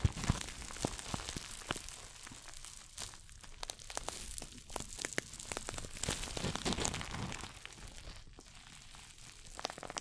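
A small red glossy coated-nylon shoulder bag, a pouch-style bag with a crinkly surface, is held close to the mic and scratched and squeezed with long fingernails and fingertips. Dense crinkling and scratching rustle on without pause, broken by many quick sharp ticks and crackles. The sound is dry and bright, with no ring after each touch.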